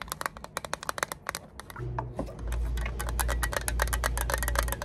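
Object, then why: Small plastic lighter fluid bottle. Long acrylic nails tap and scratch a small, hollow, orange-red printed plastic Zippo lighter fluid bottle held in both hands. A quick run of sharp, clicky taps gives way to denser scratching and tapping over a steady low hum.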